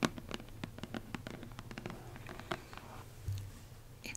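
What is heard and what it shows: A single fingernail and fingertips trace and scratch across the surface of a tan cardboard box lid printed "Accio! Exclusive," producing soft dry rasps. Nails tap along its lower edge in a string of quick, short clicks over a low steady hum.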